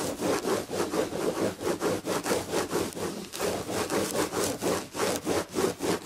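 Long red fingernails scratch back and forth across the chenille damask upholstery of a padded chair back. The result is a steady, rhythmic rasping of quick strokes, about four per second, each a bright, textured scratch that swells and fades with no pause between them.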